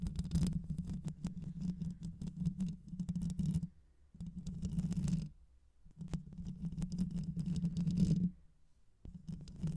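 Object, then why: Microphone with metal mesh grille. Long nails scratch over the metal mesh grille of a black hollow microphone with both hands. The result is dense, muffled, low rumbling scratching with a steady low hum, heard in four bursts separated by brief quiet pauses.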